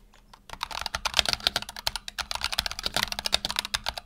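A black tenkeyless Razer Huntsman Tournament Edition mechanical keyboard with PBT plastic keycaps and optical switches, resting on a desk mat, is typed on rapidly with the fingertips of both hands. After a brief quiet start, a fast, uneven stream of about two dozen sharp, bright clicks and clacks follows, each dying away almost instantly with little low-end thump.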